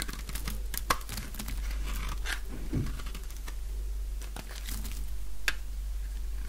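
A light-green dry solid soap bar, cut down to a slab, is shaved with a utility knife blade. Crunchy, crinkly scraping runs throughout, with sharp bright crackles standing out over a steady low hum.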